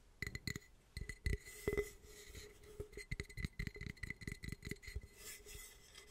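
The cracked glass carafe from a French coffee press is tapped in quick, irregular bursts. Each tap gives a short, dull knock with a bright glassy clink and faint steady ringing tones in the low-mid and upper-mid range, and the sound dies away almost immediately between taps.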